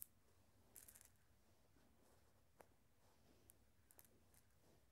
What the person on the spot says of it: Glass marbles making some sounds and rolling around.